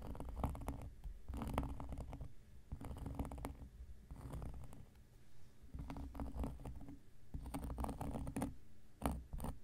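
An X-acto knife blade scratches across a large, round, flat coaster of solid cork lying on a surface. The sound comes in repeated bursts of dull, grainy scraping, weighted toward low frequencies, with short quieter gaps between strokes. Scattered brighter ticks stand out near the end.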